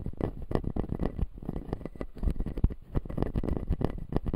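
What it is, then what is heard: Plastic dental teeth model. A fingertip scratches the white plastic teeth of a closed, solid, clear acrylic dental model. The result is a rapid, continuous run of dull, low scratching strokes with soft tapping accents and very little ring after each contact.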